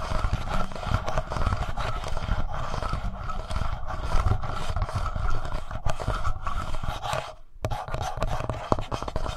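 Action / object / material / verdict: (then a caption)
scrape / plastic handheld audio recorder body / plastic / none. Fingertips and short nails scratch and tap the plastic front body and screen area of a black, palm-sized, hollow Tascam portable plastic recorder. The result is a dense, continuous rasping and rubbing with a deep, boomy low-end thud from the hollow body, broken by quick taps. The sound drops out briefly near the end before the scratching resumes.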